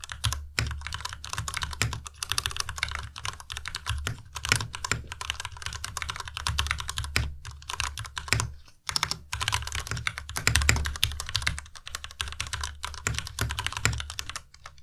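A white plastic Ducky Miya Pro tenkeyless mechanical keyboard with Cherry MX Red switches is typed on quickly with the fingertips of both hands. A dense, continuous stream of bright, crisp key clacks rides over a low, rounded thock from each keystroke. There are a few brief pauses, including one near the middle.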